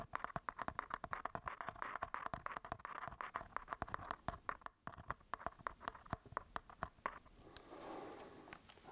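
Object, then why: Plastic and metal mirrorless camera body. Fingertips and nails scratch and tap the textured grip and top of a solid black Sony A7 IV, a plastic and metal mirrorless camera body held close. Quick, dry clicking taps with almost no ring run over a steady scratchy rustle centred around 1 kHz, broken by a brief pause near the middle. The clip ends in a softer, continuous rubbing scrape.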